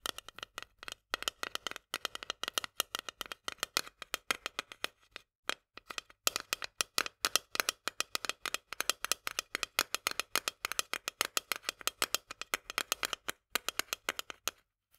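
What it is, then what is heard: Steel food can tapped with fingernails. Long nails tap rapidly on the metal lid and rim of a small, full steel can of corn held at a tilt. The taps are quick, bright and dry, with almost no ring, and come in fast bursts with brief pauses in between.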